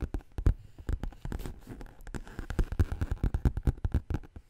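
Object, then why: Faux leather handbag. Long green nails tap and scratch the flat side of a black textured faux leather handbag with metal studs on the bottom. The result is a quick, irregular run of dull, low, muffled taps with soft scratchy rubbing between them, each tap dying away almost at once.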